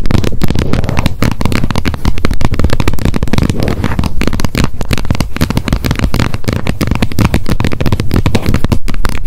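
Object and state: Plastic lid of a wet wipes pack.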